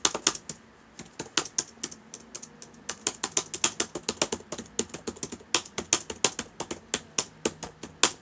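Fingertips of both hands type on the plastic keys of a black, hollow-bodied laptop keyboard that sits open on a table. Dozens of quick, bright, clicky taps come in uneven bursts, with brief pauses between runs, and each tap dies away almost instantly.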